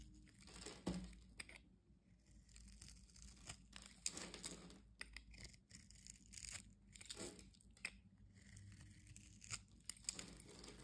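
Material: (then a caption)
Soap. A solid orange soap bar held in the hand has its scored surface scraped with a metal utility-knife blade, and crumbs fall away. Repeated bursts of dry, bright scraping and crunching rise and fade over a steady low hum, with short quiet gaps between strokes.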